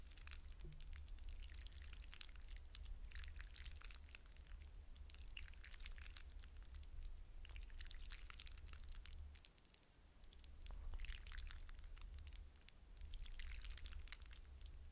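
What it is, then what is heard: Hydrogel water beads stirred in a glass bowl. Fingertips stir and rub through a glass bowl full of wet blue hydrogel water beads, making quiet, continuous wet squishing with bright, rapid clicks. A steady low hum sits underneath throughout, and the texture briefly thins out before swelling again.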